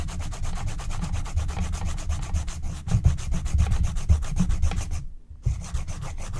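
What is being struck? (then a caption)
Wax-coated scratch-art card scraped with a wooden stylus. A wooden stylus scratches along the edges of a flat, thin scratch-art card coated in black wax, while a hand with long nails steadies the sheet. Quick, rapid rasping strokes run almost continuously, carrying a heavy low rumble. They stop briefly just past the five-second mark before resuming.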